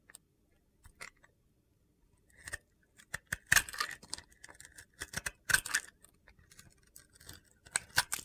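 A utility knife blade carves many quick slices off a red-pink glitter-coated bar of soap. Each cut gives a short, crisp, gritty scrape with a bright hiss, coming in irregular bursts with quiet gaps between them.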